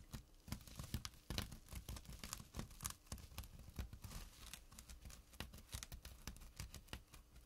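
Fingertips and short nails scratch the coarse weave of a small, flat burlap drawstring pouch. The result is a quiet, close run of dry, rasping scrapes and sharp, bright ticks, with short bursts that stop quickly over a soft low rumble.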